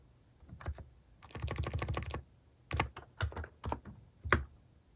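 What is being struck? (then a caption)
Plastic mechanical keyboard keystrokes. Fingertips type on a compact plastic mechanical keyboard with plastic cat keycaps, starting with a few scattered keystrokes. A quick run of typing follows, then sparse single presses. Each stroke is a short, muted, low-pitched clack that dies away almost instantly.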